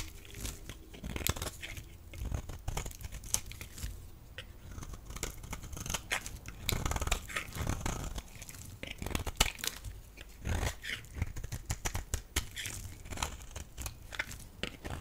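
A small black metal blade scrapes and cuts a palm-sized solid pink bar of dry soap held in one hand, shaving off flakes beside a pile of soap shavings. Dense, crisp crunching and scraping strokes follow one another rapidly, each with a bright, dry edge and almost no ring. The flakes peel away in a steady crackling stream.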